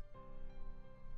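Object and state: Nothing is struck.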